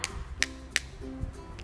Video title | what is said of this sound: Kelas 3 Tema 2 Subtema 1 Pembelajaran 1 & 2 | pulpen dan spidol bunyinya tek tek tek